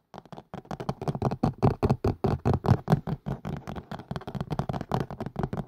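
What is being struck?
Plastic and silicone collapsible colander.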